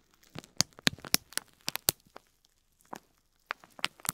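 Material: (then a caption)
Plastic. A fingertip presses and rubs a strand of small white plastic faux pearls wrapped in clear plastic film, resting on cloth. The film gives sharp, bright crinkles and crackles in irregular bursts, with a quiet pause in the middle before the crinkling picks up again.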